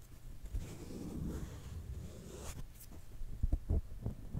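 Long fingernails of both hands scratch and rub a round, fist-sized black foam windscreen fitted over a microphone. A muffled, low rumbling scrape runs steadily, then four short, deep thumps stand out near the end.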